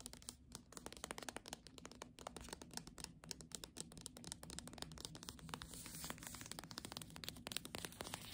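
Long nails tap and scratch the cover and spine of the hardcover book "Doggerel" in its paper dust jacket. A steady flurry of quiet, crisp clicks mixes with a dry, papery scratching, bright in the upper range, with no ring after each tap.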